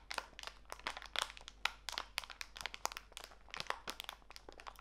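A small clear plastic bag full of walnut pieces is squeezed and crinkled between fingertips with long nails. Quick, sharp, bright crackles and crinkles come in a steady, uneven stream, with the pieces shifting faintly inside. The sound is quiet, dry and close, with almost no low end.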